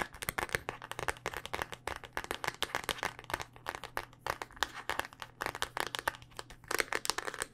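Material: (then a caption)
Hard plastic. A handheld smartphone in a solid, black rugged hard-plastic case is tapped with long, dark-painted nails. The result is a rapid, uneven series of crisp, dry clicks with a bright edge and almost no ring, over a faint steady low hum.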